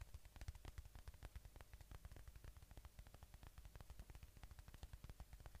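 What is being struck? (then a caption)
Polyurethane foam squishy toy. A palm-sized watermelon-slice squishy toy of soft solid polyurethane foam, with red flesh and a green rind, is held right at the microphone while fingertips and nails tap and scratch its surface. A quiet, steady run of short, dull taps with muffled low thumps, each dying away almost instantly, is edged by faint brighter scratchy clicks.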